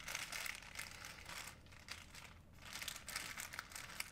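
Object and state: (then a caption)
Plastic shopping bag being crinkled. An empty, folded white plastic shopping bag is squeezed and crinkled in the hand, producing soft, continuous bright crinkling with crisp snaps. The crackle eases briefly in the middle before building back up, with little low-end weight.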